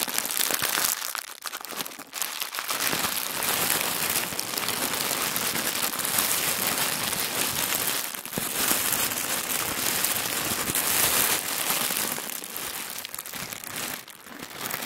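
Thin white tissue paper, rolled into a loose tube with both hands, is pressed and crinkled by fingers. The result is a steady, dense, bright crinkling and crackling with little low end, easing briefly at a few moments before building again.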